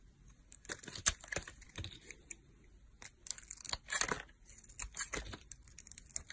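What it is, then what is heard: Soap bar being carved. A metal box-cutter blade carves slices from a solid teal soap bar held in a hand with long nails, cutting and scraping. It makes a quick run of crisp, dry, bright crackles and short scratchy scrapes, each dying away almost at once, with quiet gaps between them.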